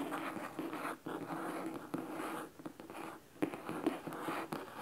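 Fingernails of both hands scratch the cloth top cover of a large red cloth-bound hardcover book resting on a wooden table. The result is a dry, rasping scratch with a mid-range tone, broken by brief pauses and a few sharper strokes.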